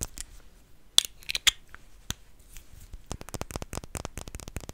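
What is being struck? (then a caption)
Small glass perfume bottle, partly filled. Short fingernails tap a small clear glass perfume bottle, partly filled with pink liquid, held in the fingers. A few scattered, sharp, bright clicks give way after about three seconds to a rapid run of light ticking taps that die away almost instantly.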